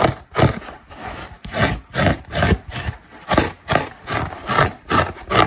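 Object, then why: Synthetic foam car sponge. Long black nails scratch and dig into the edge of a dry orange foam car sponge, a solid porous block. About eleven separate rasping, scraping strokes come at an uneven rhythm. Each is a dry, crackly burst with a bright hiss and a soft low rumble that cuts off quickly.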